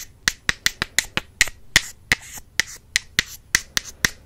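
Two wooden makeup brush handles are tapped together sixteen times in an uneven rhythm. Each tap is a sharp, dry, bright click centered around 2 kHz that dies away almost instantly.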